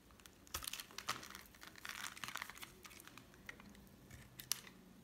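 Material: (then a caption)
Soap. A solid cream bar soap, held in the hand, is shaved into thin strips with a metal utility knife blade. The cuts make a quick series of dry, crisp scraping and scratching sounds with a crinkly, bright texture and almost no low end. Each stroke stops sharply, with no ring.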